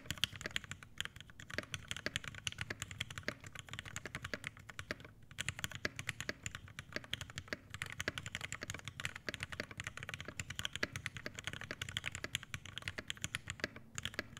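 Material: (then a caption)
Plastic and brass. An Iron180 80% mechanical keyboard with an aluminum case, brass plate, Hyperglide Black switches and PBT keycaps is typed on continuously with the fingertips of both hands. The result is a steady, dense stream of crisp, bright clacks with a soft low thock underneath, each keystroke dying away almost instantly.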